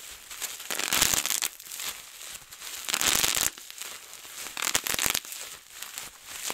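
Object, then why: Plastic bubble wrap sheet. A large, clear sheet of plastic bubble wrap is rolled up and twisted and wrung in both hands, bursting many bubbles. Bright, dense crackling pops come in louder clusters with softer crinkling of the plastic in between, and almost no low end.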